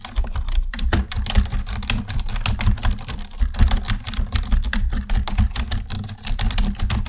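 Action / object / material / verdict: tap / plastic computer keyboard / plastic / none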